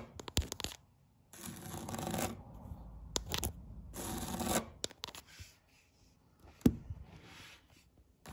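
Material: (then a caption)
Vinyl. Long red nails scratch and rub the weave of a flat grey-green woven vinyl placemat lying on a table. Sharp clicks and taps are broken up by longer, hissy, broadband scratching strokes, with a single louder click near the end.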